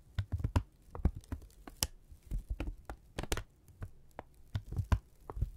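A thin brown kraft paper strip held in both hands is pushed together, pulled apart, crinkled and rubbed with the fingertips. This gives a run of short, dry crackles and snaps over a soft low rumble. Each burst stops almost at once, with no ring.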